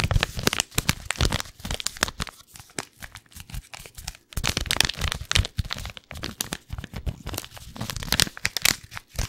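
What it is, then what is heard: Paper tea bag packet. A single small paper wrapper with a tea bag inside is held in the fingers and crinkled and scratched with the fingertips close to the mic. Dense bursts of dry, bright crackling and rustling come with a low papery thump under them. The crinkling pauses briefly around the middle, then resumes at full intensity.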